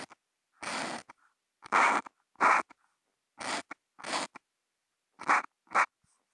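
A Posca marker tip scratches across a flat white sheet of Kent paper in short strokes, zigzags and hash marks, picked up by a contact mic on the marker. Seven main raspy, papery bursts are heard, centered around 1 kHz with bright hiss on top. Faint ticks fall between them in the silent gaps.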